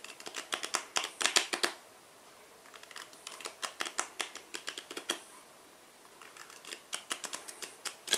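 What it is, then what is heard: Cardboard playing card box tapped and scratched. Fingertips and nails tap and scratch the surfaces and edges of a small black cardboard tuck box, likely holding a deck of cards, held in both hands. Quick, dry, bright clicks and scrapes come in three busy bursts separated by short quiet gaps. Each tick dies away almost instantly.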